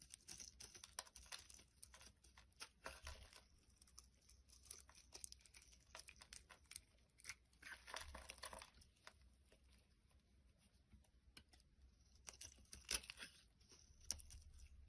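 A solid, hand-sized orange bar of soap is held in one hand and carved with a short black-bladed knife, shaving off curls and flakes that pile up on a wooden board. Quiet, bright, crisp scraping and shaving strokes crackle in rapid, uneven bursts over a low steady hum, with a few sharper scrapes standing out.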